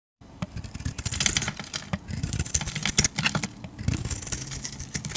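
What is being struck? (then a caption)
Bar of soap cut with a metal blade. A metal utility-knife blade carves shavings from a solid oval purple bar of soap held in the hand. Rapid, crisp scraping and cutting strokes follow one another closely, each bright and dry with a soft low thud underneath.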